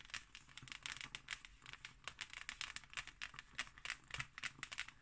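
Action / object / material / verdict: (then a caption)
scrape / embossed hardcover book cover / unknown / none. Fingernails scratch across the textured pattern of a closed, thick hardcover book's embossed cover. The result is a quiet, dry stream of quick, bright scratching strokes with crinkly texture and almost no ring after each stroke.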